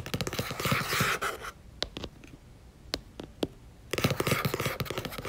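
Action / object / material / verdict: scrape / paperback book with paper cover / paper / none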